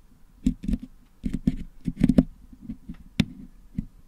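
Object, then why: Metal mesh microphone grille packed with putty, picked with a wooden toothpick. A wooden toothpick picks and scratches red and blue putty out of the hollow metal mesh dome of a Blue Yeti microphone head held in one hand. The sound is a close, dry series of soft, dull taps and short scrapes, low and muffled, with a few brief bright ticks where the pick catches the mesh.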